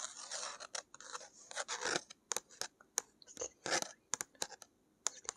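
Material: Paper.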